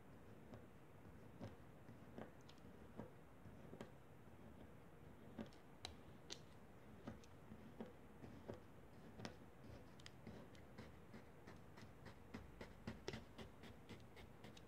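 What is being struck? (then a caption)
Kinetic sand cut with a plastic spatula. A blue plastic spatula repeatedly presses and slices a soft, solid block of pink kinetic sand into small cubes on a foil paper plate. Each cut makes a short, crisp tick or soft crunch with a bright high edge, irregularly spaced and becoming more frequent toward the end, over a quiet low rumble.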